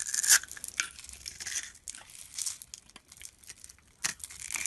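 A metal utility-knife blade scrapes across a palm-sized, solid dark brown-black bar of soap held in the hand, carving off curled shavings. The strokes make dry, bright, crisp scraping and tearing sounds in short bursts, loudest near the start and again just after four seconds, with no low end.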